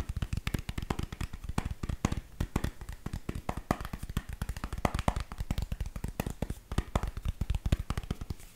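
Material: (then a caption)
Cover material. A Kindle e-reader in a black cover, held up flat, is tapped on its back with long nails. The quick, steady taps land as dense, short, dull knocks with a strong low thump and only faint brightness on top, each dying away almost instantly.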